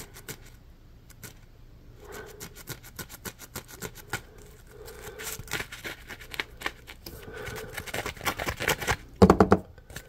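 Fingers and short nails scratch and squeeze a yellow, ridged, porous polymer foam Scrub Daddy Puppy scrub sponge gripped in one hand. Rapid soft scratches, crackles and squishy rubs come in quick bursts, rising toward the end with a louder squeaky squeeze.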